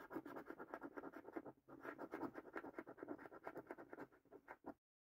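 A coin scratches rows of latex-coated panels on a thin cardboard paper scratch card. Quick, slightly uneven scraping strokes repeat at about three per second, each with a dry, papery rasp. The strokes pause briefly at around 1.6 seconds, then continue until stopping abruptly just before the end.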